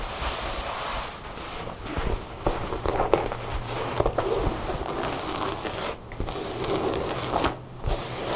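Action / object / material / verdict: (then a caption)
scrape / denim jeans fabric / denim / none. Long blue nails tap and scratch quickly across blue denim jeans lying on a table, working over the fabric, its seams and the back pocket. A steady, bright scratchy rustle runs throughout, punctuated by brisk, dry taps with brief dips between strokes.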